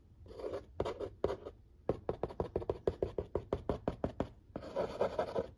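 A fingertip nail quickly scratches and traces the printed lines on the lid of a large, flat corrugated cardboard pizza box. A soft swelling scrape gives way to a few separate strokes, then a fast run of short, dry, papery scratches, and ends in a steadier stretch of continuous scratching.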